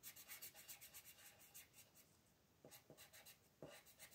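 A colored pencil rubs back and forth across a thin paper mandala page on a table while a hand with long nails holds the page steady. Soft, bright, scratchy coloring strokes come in a quick uneven rhythm, fade briefly in the middle, then resume with a few sharper starts.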